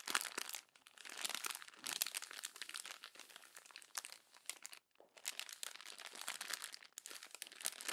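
An open glossy paper magazine is pressed, crumpled and folded by fingertips and palms. Dense, bright crinkling and crunching continues almost without a break, pausing briefly near the fifth second, with nothing in the low end.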